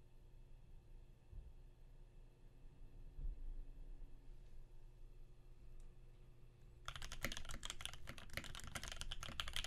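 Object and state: Mechanical keyboard with PBT keycaps.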